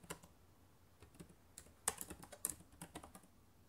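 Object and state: Plastic laptop keyboard.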